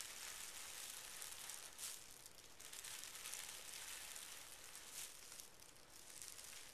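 A flat palm and fingertips smooth over a folded stack of pink tissue paper resting on carpet. The result is a soft, continuous rubbing crinkle, quiet and mostly high and bright, with brief brighter swells as the hand sweeps across the paper.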